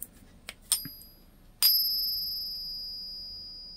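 An 80% silver Canadian dollar coin, placed in a ping tester in place of a .999 silver coin, is pinged. A few light clicks and taps lead to one sharp strike that rings out as a bright, high metallic tone, fading slowly over about two seconds. The ring is a normal one for 80% silver and differs from that of the .999 coin.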